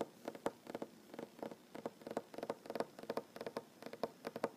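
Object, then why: Wooden tabletop. Short fingernails tap rapidly on a large, solid wooden tabletop, producing a quiet, steady run of dry clicks in uneven clusters. Each tap is a crisp midrange knock with a bright, papery edge. It stops instantly, with no ring and almost no low end.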